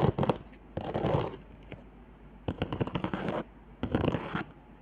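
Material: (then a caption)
Cardboard. Long nails scratch and tap along the hot-glue lines, ridges and dots on a flat cardboard board. Short bursts of dry, crackly scratching and quick clicky taps come in four clusters with quiet gaps between. The sound stays dull and low-to-mid, with almost no bright top and no ring after each touch.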